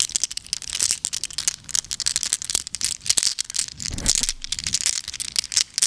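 A double handful of small, solid, flat-backed glass gems in blue, green, clear and brown is cupped in both palms with long acrylic nails and shaken together, while more gems lie loose on the table. The gems make a dense, continuous run of bright, sharp clicks and tinkling rattles with very short ring, with a brief dull low rustle of the hands near the middle.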